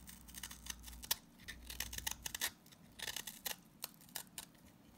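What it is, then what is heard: Salt scrub soap bar being shaved. A box-cutter blade scrapes and shaves the bubble-shaped side of a green solid salt scrub soap bar. The result is a quick series of bright, crisp, crackly scraping strokes, each dying away almost at once. A faint low hum sits underneath during the first half.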